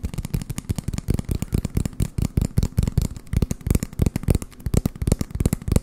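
An empty, hollow brown cardboard toilet paper roll is held in the hand and tapped and scratched with fingertips and short nails close to the microphone. A rapid, continuous stream of dry, hollow, low thumps comes through, mixed with light scratchy crackle. Each tap cuts off almost at once with no ring.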